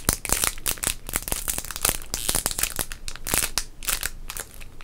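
A small sealed modern Topps baseball card pack, full of cards and wrapped in shiny foil-plastic, is crinkled and squeezed between the fingertips of both hands. The result is a continuous stream of sharp, bright crackles and crinkles that die away almost instantly, riding over a soft low rustle.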